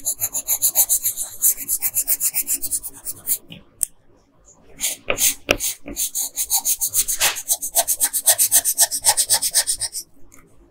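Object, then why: Wooden colored pencil on a paper sheet. A red-pink wooden colored pencil held in fingers rubs and scratches across a flat printed Princess Peach coloring page lying on a table, shading the dress. The clip is a steady run of quick, bright, raspy scratching strokes with a brief pause near the middle.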